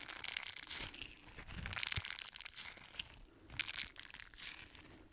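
A small, solid and flexible green silicone bristle scrubber is squeezed and crumpled in one hand with the fingertips. It gives off a soft, dense run of bright crinkling and crunching with little low end, swelling and easing in uneven waves with no ring after each squeeze.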